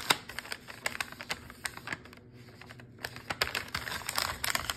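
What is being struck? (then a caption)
Plastic food wrapper with cookie dough. Fingertips tap and scratch the crinkly printed plastic near the top seal of a full plastic cookie dough wrapper lying flat on a counter. Quick, dry, bright clicks and crinkles come in an irregular series, with a brief quieter lull in the middle before the tapping picks up again and grows denser toward the end.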